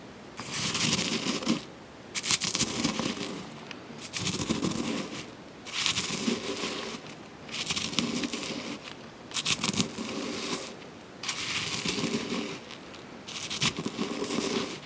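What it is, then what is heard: Freeze-dried strawberries being ground. Small crumbly pieces of freeze-dried strawberry in a granite mortar are crushed and ground with a granite pestle. Bursts of dry, bright crunching and gritty scraping come in repeated waves, each lasting about a second or two, with brief quieter pauses between them.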